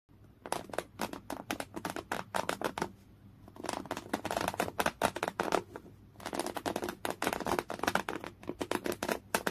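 A folded piece of thick, coarse-weave beige cotton canvas, lying flat, soft and non-hollow, is scratched hard with the natural fingernails of one hand. Rapid, dry, raspy strokes come in quick runs, with brief lulls near 3 and 6 seconds. Each stroke is short and bright-edged, with a faint low hum underneath.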